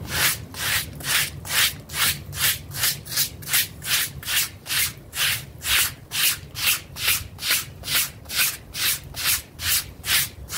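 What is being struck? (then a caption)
Synthetic-fibre doormat scrubbed with a stiff plastic brush. A pink plastic brush with stiff bristles scrubs back and forth across a small, flat, blue synthetic-fiber pile doormat with a frog face, dirty and damp, lying on a plastic sheet while one hand holds the mat. About 20 steady, evenly paced strokes make bright, hissing rubs that swell and fade with each pass over a faint low rumble.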